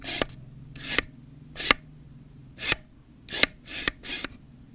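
Fingernails and fingertips scratch and rub the ribbed rings of a hollow black plastic camera zoom kit lens, first held and then stood upright. Seven separate bright, raspy strokes swell and fade at an uneven pace, several ending in a sharp little tick, with quiet gaps between them.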